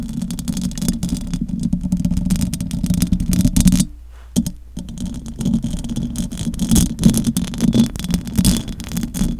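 Long acrylic nails on both hands scratch the metal mesh grille of a large silver condenser microphone, making a dense, continuous rasping scrape with a strong low rumble. The scratching cuts out briefly just before the midpoint, leaving near silence, then resumes with busy, uneven scraping to the end.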